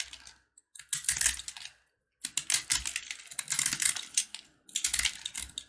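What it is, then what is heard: Brittle corn-kernel candy bar being carved. A box-cutter blade scrapes and carves a hand-held, solid, brittle bar of yellow corn kernels bound with jaggery sugar. Bursts of dense, crisp, bright crackling and scraping come with short silent pauses between them, and each tiny snap dies away almost at once.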